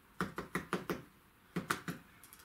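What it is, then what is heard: Baked bread loaf, fairly solid. Knocks on a brie and bacon loaf baked in a slow cooker give eight short, dull, hollow taps in two groups of five and three. The loaf is baked through, fairly solid, and has good colour underneath.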